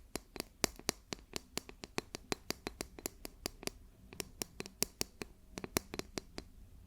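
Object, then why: Plastic ruler. A plastic ruler is tapped in a quick, uneven run of about 30 sharp, dry clicks over roughly seven seconds. The clicks are bright, with no ring after each one, over a quiet background.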